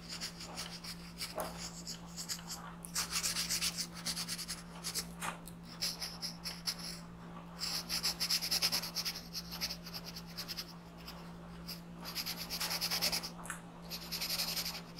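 A green colored pencil shades a thin printed paper coloring sheet resting on a desk with firm rubbing strokes. Rapid, bright, scratchy rubbing comes in several louder stretches separated by quieter strokes. A steady low hum runs underneath throughout.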